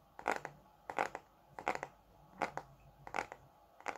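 Fingertips and nails tap and scratch the glossy cover of a thick red Bescherelle paperback grammar book, made of solid paper and held in both hands. Short, dry, crisp taps come in small clusters roughly every 0.7 seconds, with a papery scratchy texture and almost no ring.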